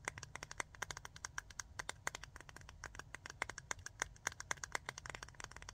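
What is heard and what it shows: Long nails rapidly tap the body of a small clear jar full of rhinestones with a metal lid, making a fast stream of short, bright clicks while the rhinestones shift and rattle inside. A steady low background rumble runs underneath.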